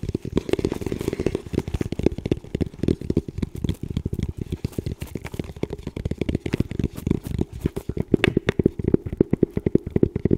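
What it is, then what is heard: Composite tactical helmet. Fingertips tap and scratch the shell of a hollow, dark camo composite tactical helmet with a small green strobe attached, held in both hands. Dense, rapid, dry taps produce short hollow thuds with a low-mid body and almost no ring, mixed with soft scratching. The irregular patter continues steadily throughout.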